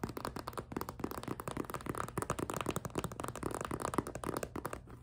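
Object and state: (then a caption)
Clear vinyl zippered pouch, squeezed and scratched. A small, empty clear PVC cosmetic pouch with pink trim and a zipper is gripped, squeezed and scratched with long nails. The result is a dense, rapid run of crinkly plastic scratches and squeaky rubbing, centered in the mid range with a low hollow body.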